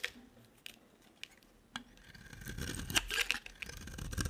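A utility knife blade carves and scrapes a solid, hand-sized beige dry soap bar with an embossed logo. Sparse, sharp crisp cuts come first, then a denser, louder stretch of bright, gritty scraping and shaving builds through the second half.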